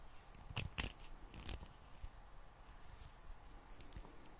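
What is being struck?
Small glass bottle with metal screw cap.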